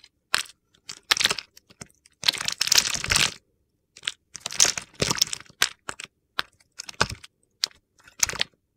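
A solid mint-green bar of soap, pre-scored into a grid and held in the hand, is carved with a utility knife blade, scraping off crumbly cubes. Bursts of bright, dry crackling and crunching scrapes come in short clusters separated by brief pauses, with little low end and almost no ring.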